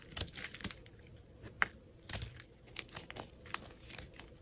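A metal utility blade shaves thin slices off a solid grey soap bar held in the fingers, while the fingers handle the bar. Quiet, irregular crisp scrapes and soft clicks come in short bright bursts, with faint rustling from the fingers between the cuts.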